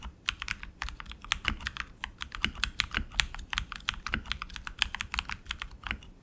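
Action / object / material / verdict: tap / mechanical keyboard with plastic keycaps on a metal frame / plastic / none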